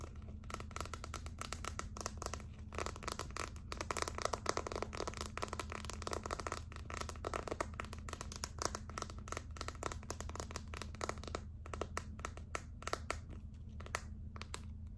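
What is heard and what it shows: A clear plastic phone case filled with gold glitter, a hollow and seemingly empty shell, is held in both hands and tapped and scratched with long acrylic nails. Rapid, dense, crisp clicks and light scratching run throughout over a steady low hum, each tap dying away almost instantly.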